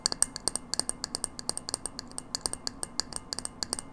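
Long nails tap rapidly on a hollow frosted glass light bulb held upright, making 29 quick, bright clicks. Each tap is short and dry with a high glassy tick and almost no ring.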